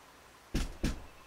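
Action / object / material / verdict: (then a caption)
knock / closet door, hollow-core wood / wood / hollow. Two knocks on a hollow-core wooden closet door, each a dull, bass-heavy thud with a brief hollow resonance that dies away quickly. The knocking sets off a nearby device, probably from the bass vibration of the hollow door, while knocking on the wall does not.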